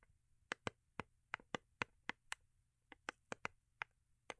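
Long acrylic nails tap and scratch the underside and edges of a small, hollow, rigid cardboard gift box with a holographic foil-paper covering, held in the hands. About fifteen short, crisp clicks land at uneven intervals, each bright and dry with almost no ring, over a quiet background.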